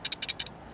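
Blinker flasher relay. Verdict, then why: Loose. An old, faulty blinker flasher relay is shaken by hand, and a loose part rattles inside it. The rattle comes as quick, bright, dry clicks that stop almost instantly, leaving only faint background noise.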